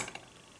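An RC car is dropped and its front wheels land with a single short, bright tap that dies away quickly, with no bounce. The front suspension lands cleanly and is judged perfect.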